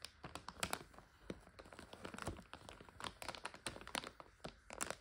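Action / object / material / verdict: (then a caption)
scrape / plastic bag of egg noodles / plastic / none. Long nails scratch a full 400 g plastic egg noodle bag, then hands lift and crinkle it. Quiet, dense crackles and sharp ticks are heard with bright, brief transients and little low end.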